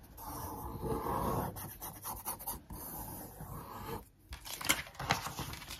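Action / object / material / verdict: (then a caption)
scrape / glossy paper magazine page / coated paper / none. Long nails and a wooden stick trace over a handbag picture on one page of an open glossy paper magazine lying flat on a wooden table. Soft, steady scratching and rubbing strokes fill the clip, pausing briefly near the end before a few sharper, brighter scrapes.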